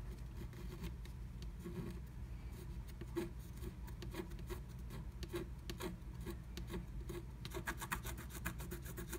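A pointed wooden stylus, held in the fingertips, scrapes through the coating of a flat black-coated scratch art card lying under a blue plastic stencil. Quiet, dry scratching strokes come in short rasping bursts with bright, crisp edges over a faint low hum. The strokes turn quicker and denser toward the end.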